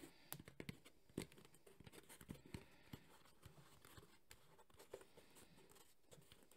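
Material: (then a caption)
EVA foam. A black, textured JBL hard EVA speaker carrying case is held in both hands while nails and fingertips scratch and tap its surface. A rapid, uneven series of short, dry clicks and taps rides over a soft, continuous scratching hiss, with low, quiet body thumps beneath.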